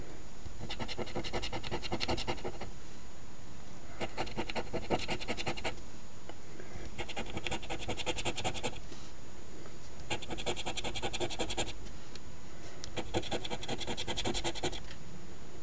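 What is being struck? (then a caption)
Paper scratch ticket scraped with a coin edge. A coin's edge, held in the fingers, scrapes the latex scratch coating off the number spots of a thin, flat paper $10 Ontario OLG "Wish List" instant scratch lottery ticket (#2450) lying on a table. The scratching comes in repeated bursts of rapid, gritty rasping with short pauses between them, bright and crackly over a steady low rumble.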